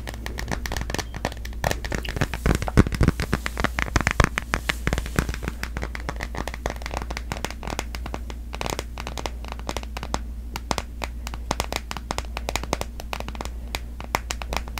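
A smartphone in a solid pastel printed plastic case, held in both hands, is tapped and scratched with long nails. Rapid, crisp clicks and scratchy crackles fire continuously over a steady low hum. The short, dry taps stop almost instantly with no ring.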